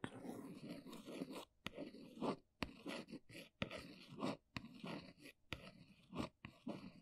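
An index fingernail traces and scratches across the printed side of a small brown cardboard box held at an angle, making soft, dry rasping strokes in bursts. Short, sharp clicks stand out between the scratching passages.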